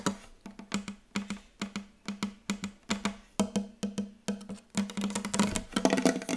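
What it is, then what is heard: Wooden table tapped with fingertips. Fingertips tap quickly on a wooden table, making a steady run of short, dry, hollow knocks with a woody tone around 200 Hz that dies away almost instantly. Toward the end the tapping grows denser and busier, with brighter clicks mixed in.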